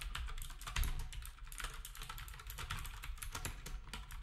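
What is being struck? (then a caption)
Plastic keyboard with round keycaps. Fingertips of both hands type steadily on a black, retro typewriter-style keyboard with round plastic keycaps. Rapid, overlapping clicky taps with a bright edge ride over a constant low hum, and each keystroke decays quickly.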